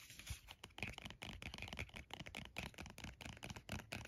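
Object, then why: Plastic squeeze tube of lotion. A red plastic body cream squeeze tube, about 8 oz and apparently full, is held in the hands and tapped and scratched with the nails. A quick, irregular run of soft, dry taps and scratchy clicks is heard, each with a dull low thump and a bright crinkly edge. Each tap dies away almost at once.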